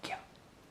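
A freshly baked loaf of homemade biga bread, just out of the oven, gives off a short, bright crackle from its crust. Two quick crunches in close succession fade out within a fraction of a second, showing the crust is crisp and well baked.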